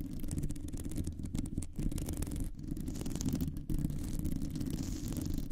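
Long nails scratch and tap across a round, hollow metal mesh microphone grille. It makes a continuous, dense, low, rumbling scratching texture with fast, soft tapping mixed in. There are a few brief dips, and only a faint bright hiss sits above it.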